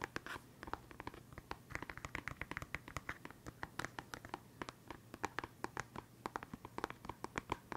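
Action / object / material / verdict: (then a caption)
scrape / clear plastic pen case / plastic / none. A small hollow, clear transparent plastic case full of colored felt-tip pens is held up and scratched and tapped with fingernails. Dozens of quick, dry clicks and scratchy ticks come in an uneven rapid stream, each dying away almost instantly. They have a hollow plastic tone centered near 1 kHz over a faint low hum.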